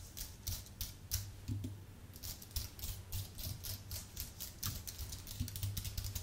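Fingertips type on a white, full-size Apple Magic Keyboard with plastic keycaps on an aluminium base. A steady, uneven run of quick key taps makes bright, sharp clicks over a soft low thud. Each tap dies away almost at once.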